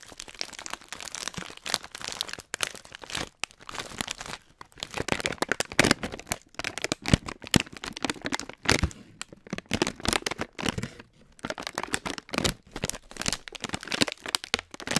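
A filled Hot Nuts snack bag of metallized plastic foil is crinkled and stretched flat between both hands with the fingertips, which also crunches the nuts inside. Dense, bright crackling and crinkling come in rapid bursts with brief pauses throughout the 15 seconds, each crackle dying away almost instantly.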